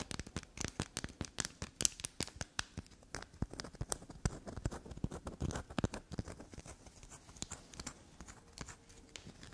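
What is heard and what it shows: A small, solid, carved black soap bar is tapped and scratched with long black nails. Fast, soft clicks and scrapes come in dense bursts with bright, crisp edges and no ring. Quiet scratching fills the gaps between them.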